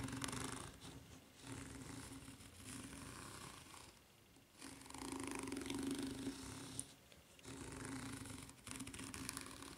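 Long nails scratch the serrated underside of a white, ridged rubber flip-flop sole. Bursts of dense, bright rasping come in several stretches, separated by brief quieter gaps, over a steady low hum.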